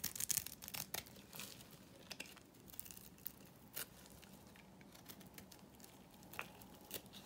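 A small metal blade scrapes cubes off a dry, solid pink Korean bar soap that has been scored into a grid. Quiet, crisp, bright scraping and crumbly crackles come in a dense burst at the start, then thin out into sparser sharp ticks and short scrapes over a faint low hum.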